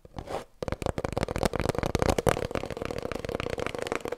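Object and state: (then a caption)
Empty hollow cardboard tube. An empty, hollow cardboard kitchen roll tube, held horizontally, is tapped and scratched with long nails. After a brief soft scratchy rustle and a pause, fast, dense clicky taps follow, with a hollow tone in the mid-range.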